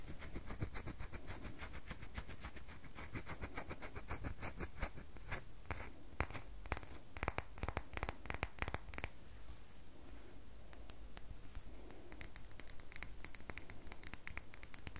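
Long fingernails scratch and dig into a solid rectangular red bar of soap held in the hand, loosening crumbly shavings. A dense, steady run of crisp, bright scratching clicks plays over a soft low rumble, with a few sharper scrapes standing out partway through.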